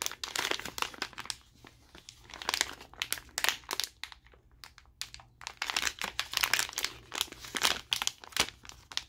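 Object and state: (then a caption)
Plastic blister package crinkling. A colourful, glossy plastic blister pack of glow sticks, about 25 cm long, is held in both hands and squeezed and flexed with the fingers. Dense, bright, crackling crinkles come in quick bursts, with a short lull near the middle before the crinkling resumes.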